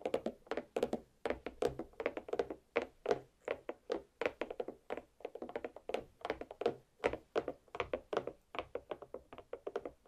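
A large, solid watermelon half sits rind up on a plate and is tapped repeatedly with long black pointed nails. Dozens of quick, dull, hollow taps follow in a steady irregular rhythm, each with a bright clicky edge and a midrange thunk around 400 Hz that dies away almost instantly.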